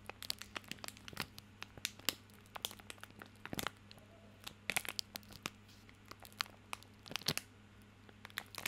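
A small soap bar in a printed plastic/paper wrapper is held in both hands while the fingertips crinkle and rub the wrapper. The result is a quiet, irregular stream of sharp, bright crackles and crinkles over a faint, steady low hum.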